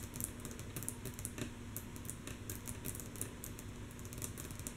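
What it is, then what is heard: Wooden tabletop tapped with fingernails. Long natural nails of both hands tap rhythmically and softly on a flat, solid, light wooden tabletop. The quick, bright clicks come in a steady, overlapping stream over a low background hum, each dying away almost at once. The result is a quiet, even clatter that sounds much like typing.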